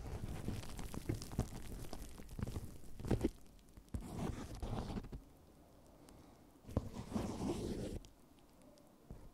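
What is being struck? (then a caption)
Plastic bubble wrap. Fingertips scratch and rub the air-filled bubbles of clear plastic bubble wrap covering a microphone, making dense, close, low-heavy crinkling and scraping with sharp little clicks. The rubbing runs for about five seconds, stops into near silence, returns in a shorter burst, and ends quietly.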